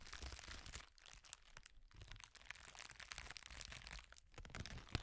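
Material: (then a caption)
Plastic. A wad of clear plastic bubble wrap is bunched, squeezed and crushed by hand near the microphone. Dense, bright crinkling and crunching runs throughout with low rumbling handling noise, briefly easing twice before picking up again. Scattered sharp cracks come from bubbles giving way, with a final loud snap at the end.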